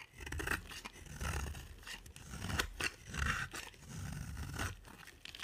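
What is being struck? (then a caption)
Bar of soap scraped with a blade. A box-cutter blade scrapes and carves a solid pink soap bar with a dark coated rim, giving repeated dry, crunchy rasping strokes with a bright edge. Each stroke also carries a low, muffled body, and the strokes swell and fade in uneven bursts.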